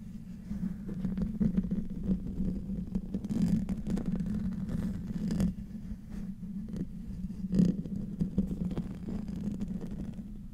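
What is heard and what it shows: Short nails and fingertips of both hands scratch the hollow metal mesh grille of a silver microphone. The result is a continuous low, rumbling scrape centered near 200 Hz, with brief brighter strokes scattered throughout and one sharper scratch near the end.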